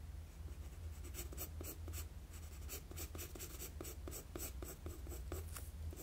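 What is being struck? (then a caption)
Graphite pencil on a sheet of drawing paper. A wooden graphite pencil makes sketching strokes on a flat sheet of drawing paper. Quick, bright scratchy strokes repeat over a steady low hum.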